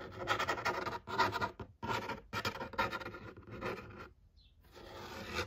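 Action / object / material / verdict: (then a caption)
scrape / large flat cardboard game box / cardboard / none. Fingertips and nails rub and scratch across the printed lid of a large, flat, hollow cardboard box for a pong game. Dry, papery scraping comes in quick bursts with brief pauses, then fades to near silence before a softer rub returns at the end.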